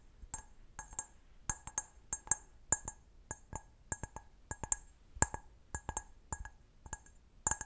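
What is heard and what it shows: A clear, hollow, empty stemmed glass goblet held in the hand is tapped with long nails in an uneven run of about two dozen taps. Each tap gives a bright, high clink with a faint lower tone and almost no ring, fading quickly between taps.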